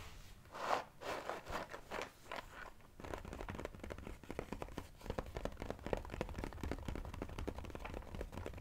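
A glossy cardboard jigsaw puzzle box is held up while fingers scratch and tap its sides. A few slower scratches and rubs open the clip, followed by a fast, steady run of dry, crackly taps and scrapes that continues to the end.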